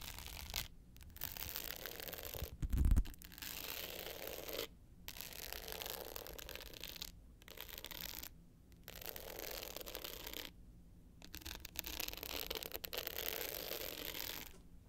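Long pointed nails scratch the dark blue glitter face of a small, rectangular, hollow hard-case clutch with a gold metal frame, held upright. Bursts of gritty, bright scratching are broken by brief silent pauses. A louder, low, hollow knock sounds near the three-second mark.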